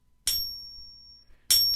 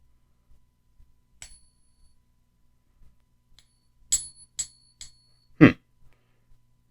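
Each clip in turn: First: Two flicks give a bright, high ping that rings close to a second; a replica coin, fake. Second: Several light flicks draw clear, high, pure pings from a genuine silver dollar, followed by one dull knock.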